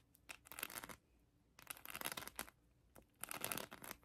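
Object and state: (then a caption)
Rhinestone-covered plastic heart scratched. A hand-sized plastic heart covered in colored acrylic rhinestones is scratched with long acrylic nails. Three bursts of bright, rapid clicking and scraping rise out of near silence, each lasting about a second with quick ticking accents.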